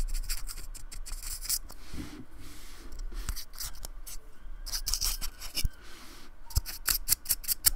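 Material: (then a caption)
Polystyrene foam. A thin paintbrush scratches and rubs along the lower edge of a small, flat, solid square of white-painted expanded polystyrene steadied by fingertips. Quick, dry, bright scratching strokes come in bursts with short pauses between them over a faint low rumble. The strokes grow sharper and more clipped toward the end.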